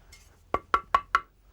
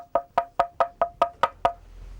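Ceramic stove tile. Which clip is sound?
The first.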